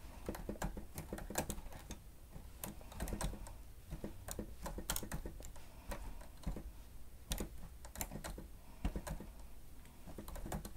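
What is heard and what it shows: Keys on a grey plastic stenotype machine with a screen are pressed rapidly with the fingertips and nails of both hands. The result is a steady run of quick, dry plastic clicks and taps with sharp bright edges over a low background hum.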